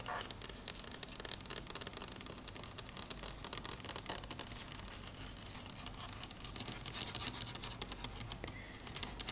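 Fingernails tap and scratch on a faux wood table in a dense, continuous run of quick, dry clicks and rasping scrapes. The sound is bright and crisp, with short taps that die away almost instantly over a steady low hum.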